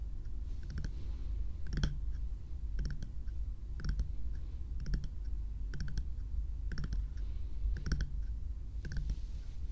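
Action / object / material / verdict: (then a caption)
tap / small plastic bear-shaped night lamp / plastic / none. A small lit bear night light with a hollow frosted plastic or silicone shell is tapped with long nails and fingertips. Light, crisp clicking taps come in small clusters at a steady pace of roughly one per second over a low, steady hum.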